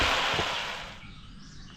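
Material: Nothing is struck.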